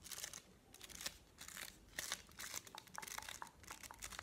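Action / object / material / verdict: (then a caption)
scrape / chocolate bar in a paper wrapper / paper / none. A solid, flat white chocolate bar, still in its printed paper or card wrapper and held in the hand, is tapped and scratched with medium-length painted fingernails. Bright, crinkly scratching bursts alternate with short, sharp clicking taps, with almost no low end and no ring after each contact.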